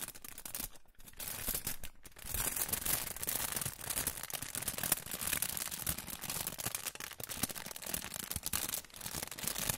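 A hand-sized, crinkled silver aluminium foil pouch is held close to the microphone and crinkled and rubbed with fingertips. It produces a dense, continuous bright crackle with many quick crisp snaps, and brief quieter pauses near the start.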